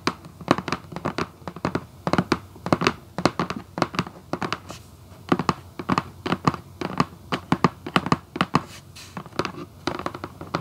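Long acrylic nails scratch and tap across a hollow red Vans cardboard shoebox lid. Dozens of quick, dry taps and short scratches come in irregular bursts, each with a dull mid-range body and a brief bright edge. They stop almost instantly, with no ring.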